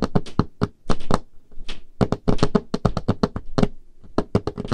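Painted fingernails tap a large, solid, dark-stained wooden table top in quick, uneven bursts of about two dozen taps. Each tap is a short, dry knock with a low, woody thump under a bright clicky edge, dying away almost at once with no ring.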